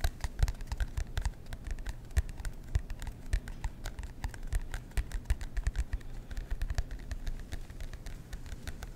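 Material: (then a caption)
Cardboard. Fingertips tap and scratch the cardboard cover of a marbled composition notebook held in both hands. A steady stream of quick, dry taps and soft scratches sounds over nine seconds, mostly low and muffled with faint bright clicks on each touch.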